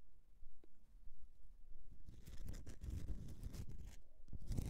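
Long nails scratch the scraped surface of a solid bar of soap. After a near-silent opening with a faint low rumble and one small tick, dense bursts of crackly, bright scraping begin around the two-second mark. They come in rough, uneven strokes over soft low thumps.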